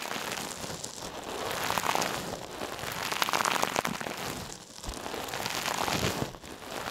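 A hand-sized, soft, silver metallic mesh scrub sponge, held in one hand, is squeezed and rubbed over a mannequin ear. It gives a dense, steady crinkly crackling with bright, sharp edges and swells of rustle centred around 1 kHz. The crackle briefly thins out near the middle and again toward the end.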